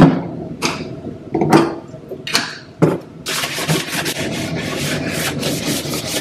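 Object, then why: Stainless steel kitchen sink scrubbed with a plastic brush. A yellow plastic dish brush held in the hand scrubs a large, damp, double-bowl stainless steel kitchen sink with some foam in its hollow basin. A few separate bristle strokes rub and scratch over the metal bowl, then give way to steady, rapid back-and-forth scrubbing. The scrubbing makes a bright, hissing scratch over a low, hollow tone from the basin.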